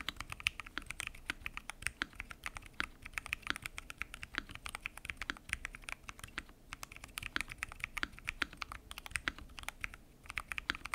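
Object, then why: Mechanical keyboard with plastic keycaps and acrylic case. Fingertips type continuously on a full-size mechanical keyboard with lubed switches, pink and mint PBT keycaps and a transparent acrylic case. A steady stream of short, dry clacks with a bright, high click carries through the whole clip, with each keystroke dying away almost instantly.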